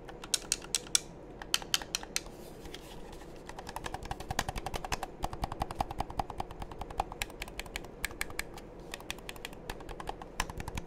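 A hollow black plastic game controller, held in both hands, is pressed and tapped by thumbs and fingertips on its buttons and shell. The result is a rapid, uneven series of sharp, dry clicks that die away almost instantly, bright and high over a low, soft rustle. It sounds much like typing on a keyboard.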